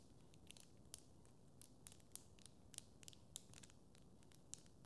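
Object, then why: Plastic tangle fidget toy. A small blue and yellow hollow plastic tangle fidget toy, made of linked curved segments, is held in both hands and twisted with the fingertips so the segments click and rub against each other. Short, bright plastic clicks and faint rubbing scrapes come in an irregular series over a quiet, low, steady hum. Each click dies away almost instantly.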